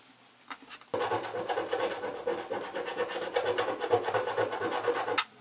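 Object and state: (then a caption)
Cardboard box scratch-off foil being scratched. A fingernail or coin scratches the last grey foil patch of scratch-off film on the right side of the lid of a small, hollow cardboard box. After a few faint ticks, a steady, raspy scratching starts at about one second, with a quick back-and-forth rhythm of uneven strokes, and stops abruptly just before the end.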